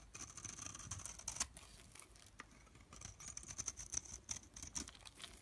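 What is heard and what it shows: Fingertips press into the cut surface of a pre-scored, rectangular solid bar of blue-and-white striped soap, crumbling it and rubbing loose soap flakes away. The result is a quiet, dense run of bright, dry crackles and tiny crisp snaps with a high hiss, each dying away almost instantly, with a few louder crunches standing out.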